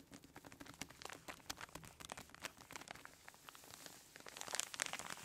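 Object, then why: Plastic zip bag filled with kinetic sand. Fingertips and long nails press, squeeze and crinkle a hand-sized clear plastic zip-lock bag full of orange kinetic sand. A dense run of quick, bright crinkles and soft crunching ticks fills the clip, with little low end, growing louder and brighter toward the end.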